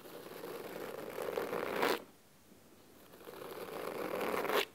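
Curled fingers scratch the nails across the cloth cover of a solid, navy fabric-bound hardcover book resting on a wooden table. Two long, dry, raspy passes each build in loudness and end in a brighter, sharper flourish, with a brief near-silent gap between them. The scratching has a crisp, papery texture centered in the mids.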